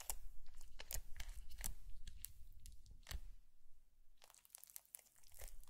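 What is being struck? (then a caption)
Foam bead slime poked with a plastic stick. A thin green plastic stick pokes and drags through a long blue foam bead slime strip on a white plate. It makes irregular, crunchy crackling bursts over a deep low rumble, easing off briefly before a burst of dense bright crackles near the end.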